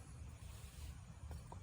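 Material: Nothing is struck.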